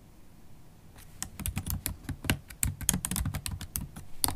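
Long acrylic nails and fingertips type on a MacBook Pro keyboard with black plastic keys in an aluminium body. After about a second of faint background noise, about fifteen sharp, bright clicks and taps come in quick, uneven succession. Each click is brief and dry, with a soft low thud beneath it.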